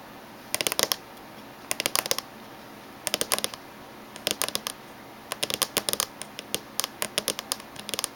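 Short natural fingernails of both hands tap rapidly on the top surface of the hollow casing of a closed silver laptop, which has USB and VGA ports on its back edge. About 34 sharp, bright clicks arrive in quick clustered bursts, each dying away almost instantly over a low, steady background hiss.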